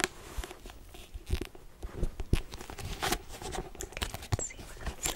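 A hardcover daily planner, cardboard-covered paper with a pink marble print cover, is scratched and tapped with long acrylic nails. A string of soft, dull taps mixes with dry, crinkly scratching that stays low and close. The cover sounds solid.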